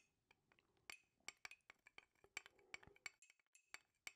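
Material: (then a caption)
Glass. A metal spoon stirs hot tea in a clear glass mug with a handle, held in one hand. It clinks against the inside wall of the mug in an irregular run of about fifteen light, bright taps. Each tap has a ringing tone near 2.3 kHz that dies away almost instantly.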